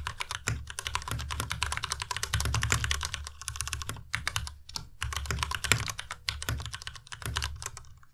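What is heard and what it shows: Fingertips type fast and continuously on a white compact Ducky Miya Pro mechanical keyboard with plastic keycaps. Dense, bright key clacks layer over a low thocky body, with only brief pauses in the steady stream.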